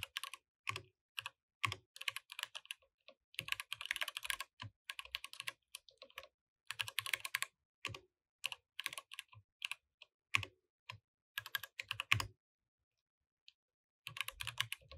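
A compact mechanical keyboard with plastic keycaps is typed on with the fingertips of both hands, and the mouse is not used. Quick bursts of bright, clacky keystrokes with short, dry decays come in uneven runs separated by brief pauses. A longer silence falls near the end before the typing resumes.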